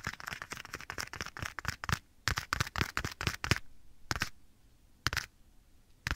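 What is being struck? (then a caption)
Leather glove. A small, soft, hollow black leather glove is held right next to the right ear of a binaural microphone while bare fingertips and short nails of the other hand tap and scratch across the leather surface. Dense, crackly taps and scratches come in a quick flurry for about two seconds, followed by spaced bursts with quiet gaps between them. Each sharp tap has a low thump under a bright crackle.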